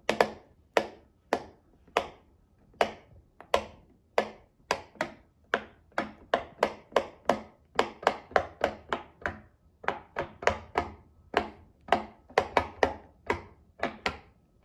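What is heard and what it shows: A rectangular rainbow silicone pop-it fidget toy with a mint-green base and hollow bubbles is pressed by a child's fingertips, one bubble at a time. About thirty-four short, dry pops come in an irregular rhythm, each a quick, bright snap centered in the midrange that dies away almost instantly.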